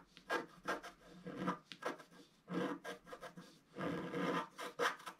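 A wooden stylus scratches wave lines into a solid, flat, black-coated scratch art page about A4 in size. It makes a run of short, dry, rasping strokes, each a brief bright scratch with quiet gaps between. The strokes stay soft and close-up, with no ring after each one.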